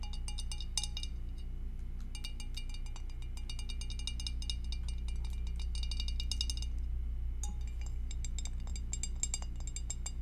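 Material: Glass.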